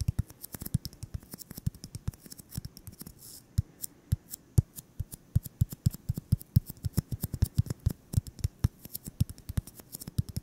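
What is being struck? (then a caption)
Styrofoam ball. A solid white styrofoam ball about 8 cm across is held in the hands and tapped and scratched with fingertips and short nails. A rapid, uneven stream of short, dull, low thuds with crisp clicky edges fills the clip, with a brief soft scratching stretch around the three-second mark. Each tap dies away almost instantly, leaving a dry, muffled patter.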